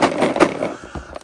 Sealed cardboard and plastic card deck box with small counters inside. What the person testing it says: you hear that rattle noise that's the damage counters on the on the bottom half